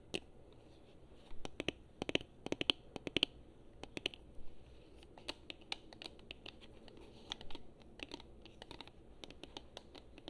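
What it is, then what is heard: Plastic game controller. Long fingernails tap and click on the buttons of a hollow, handheld gold/chrome Xbox 360 plastic game controller. The hard, dry clicks come in irregular bursts, with a bright ticking tone around 3 kHz and almost no ring after each tap. A faint low hiss sits underneath.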